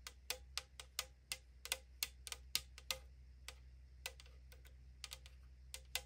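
Long acrylic nails tap and scratch the printed side wall of a tall 500 ml aluminum drink can lying on a wooden table, its hollow thin metal giving back about twenty quick, bright clicks in an uneven rhythm. Each tap is sharp and dies away almost at once, with a faint midrange ring. The clicks come in loose clusters over a quiet, steady low hum.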